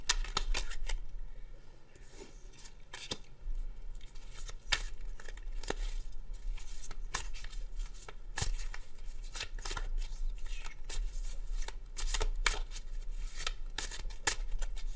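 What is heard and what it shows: A hand-sized deck of coated paper tarot cards with black backs is shuffled overhand between the fingertips of both hands over a wooden table, then fanned open. Crisp, dry papery snaps and flicks land in quick irregular bursts over a soft rustle and a steady low hum, each click dying away almost at once.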